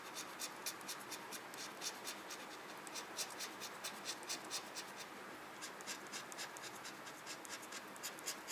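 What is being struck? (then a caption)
Paper scratch-off coupon. A red plastic pen-like tool scratches repeatedly and quickly over the coated boxes of a small, flat paper scratch-off parking coupon resting on a desk. About 19 short, dry, bright scraping strokes are heard at an uneven pace over a quiet, hissy background, with almost no low end.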